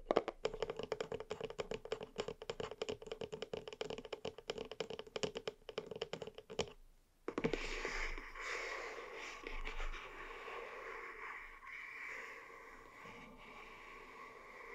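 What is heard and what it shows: Long nails tap quickly over the top and sides of a small white cardboard box standing on a table, making a dense run of light, hollow clicks for about seven seconds. After a brief pause, a softer, continuous scratchy rasp follows and fades slightly to the end.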